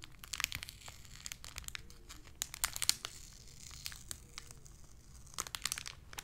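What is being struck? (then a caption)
Thin clear plastic blister pack. A small, hollow, clear plastic blister package with a card insert is pressed flat and crinkled with fingertips and long nails. Bright, crisp crackles and sharp snapping clicks come in quick, uneven bursts over a low, quiet background.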